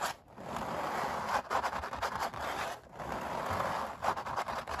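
Long black nails on both hands scratch and scrape the thick paint ridges of an oil painting of puppies on stretched canvas. The result is a steady, dry rasping centered in the midrange, with brief pauses between strokes and bursts of sharper, brighter scratches.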